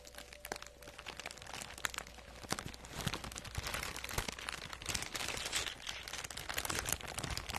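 A medium-sized, teal printed plastic poly mailer bag, soft, flexible and apparently empty, is held in both hands and scratched and crinkled with long acrylic nails in front of a fluffy microphone. Dense, bright crinkling and sharp scratchy crackles run continuously throughout, over a faint steady low hum.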